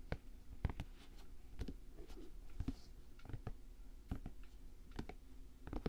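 Fingertips and nails tap and scratch an empty dark green Timberland-style nubuck leather work boot with a padded collar and metal eyelets. A quick, irregular run of soft, dull, low taps dies away almost instantly, with faint brushing scratches in between.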